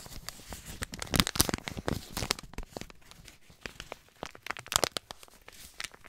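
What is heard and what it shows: A white paper compress pouch with blue print is crinkled and scratched with fingertips. Crisp, bright crackling rustles come in quick, dry bursts with almost no ring. The loudest crunches fall near the start and again toward the end.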